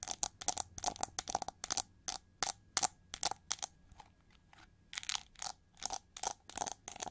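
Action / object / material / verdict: scrape / chrome-plated plastic hair brush / plastic / none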